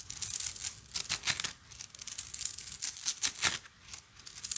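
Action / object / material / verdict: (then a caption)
shake / plastic coil spring toy / plastic / none. A large blue plastic slinky, about hand width, is held in both hands and shaken, stretched and collapsed. Its plastic coils clack and rattle together in quick, bright bursts of crinkly clicks. Short pauses separate the bursts.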